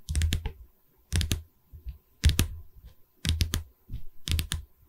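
Long red nails tap the top edge of a pine stretcher bar from a canvas frame, held upright behind the mic. Five bursts of quick taps come about a second apart, each with a dull, low wooden knock under bright clicking nail tips. Every tap stops almost at once, leaving short quiet gaps between bursts.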